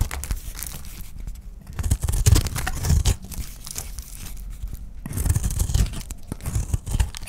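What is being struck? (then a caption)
Bar of soap scraped with a knife blade. A utility knife blade shaves and scrapes a dry, solid oval white soap bar with a blue painted rim held in the hand. The result is dry, crumbly scraping and tearing with a low, heavy rumble, rising into denser, louder bursts as the blade bites in.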